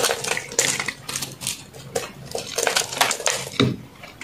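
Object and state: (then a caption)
Soap bar being carved. A metal knife blade shaves and carves a solid white reshaped soap block held in one hand, scraping off crunchy chunks. Dry, bright crunching and scraping comes in a quick series of short bursts, each fading almost at once.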